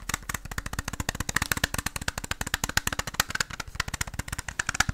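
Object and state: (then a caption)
Plastic game cartridge, hollow. Fingernails tap and scratch a small, hollow red plastic Game Boy cartridge with a paper label. Around thirty quick, dry clicks come in a rapid, uneven patter, each with a bright plastic tick over a soft, hollow low knock. Each click dies out almost instantly, with a light scratchy hiss between taps.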